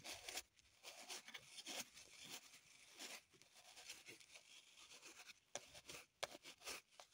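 Long pointed nails scratch and dig into a small, solid green floral foam block held up close, crumbling the foam. The sound is a quiet, bright, dry scraping and crumbling rustle in uneven bursts, with a few short, sharp crackling clicks toward the end.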